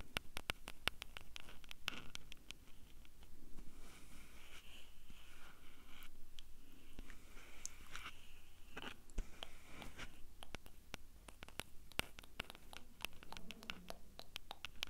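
Long painted nails tap and scratch the top and the two metal mic capsules of a small Tascam handheld recorder with a hollow black plastic body. Many sharp, dry clicks with almost no ring cut through soft, bright scratching that swells in bands around 2–3 kHz, all over a steady low rumble.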